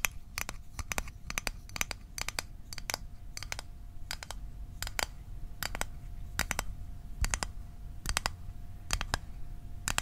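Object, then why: Small thin metal tin box. Fingernails tap the lid and sides of a small, hollow, closed blue Altoids metal tin held in the hands. The sharp, bright metallic clicks come in quick clusters of two or three, repeating steadily over about ten seconds. Each tap dies away almost instantly over a soft low rumble and a faint steady hum.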